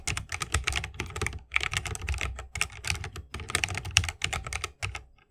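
A 60% mechanical keyboard with plastic keycaps and tactile switches, set in a bamboo wooden case, is typed on continuously with the fingertips of both hands. Quick, bright clacks with short decay run in a steady stream over a low, thocky thump from the case.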